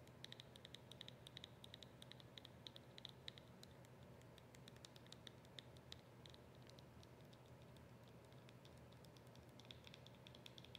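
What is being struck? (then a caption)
Small plastic squeeze tube tapped with fingernails. A small white plastic squeeze tube with a yellow cap, hollow and partly full, is tapped and scratched with long acrylic nails. Rapid, light, clicky taps and brief scratches ring out with a bright tick near 3.9 kHz, each dying away almost instantly. A steady low hum sits underneath throughout.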